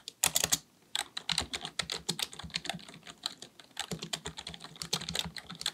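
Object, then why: Plastic computer keyboard. A black full-size plastic computer keyboard, likely mechanical with a hollow body, sits on a desk while both hands type continuously with the fingertips. Rapid, bright, short clicky key taps come in a quick burst, then a brief pause, then a steady stream of dozens of sharp taps with a faint low thump beneath.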